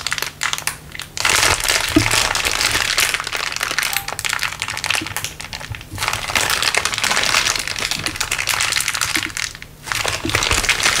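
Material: Plastic.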